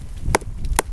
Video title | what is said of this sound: SOLO WINTER SNOW CAMP WITH MY DOG - BUSHCRAFT, BIRCH PIPE, GRILLED CHICKEN - THE TIPI DIARIES Ep13 | You can hear this is still solid.